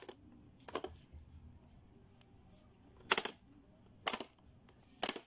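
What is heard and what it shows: Fingertips press the round button and dial on a blue hollow hard-plastic Playskool pop-up learning toy, and its plastic lids clack shut. Sharp, bright plastic clacks come in irregular clusters over a quiet background, the loudest near the end.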